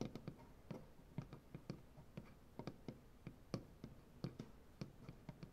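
Fingernails from both hands tap and scratch along the grain of a solid, light wood butcher block tabletop. About twenty quick, dull taps with a low thud sound in an irregular rhythm, each dying out almost at once, over a faint, soft scratching hiss.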